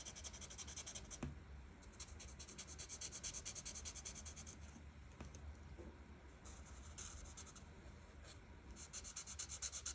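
A marker's felt tip rubs and scratches across a thin printed paper coloring page lying flat on a table, moved in quick strokes by a hand with long red nails. The strokes make a steady, soft, bright scratchy hiss that swells and fades with each pass, over a low constant background hum.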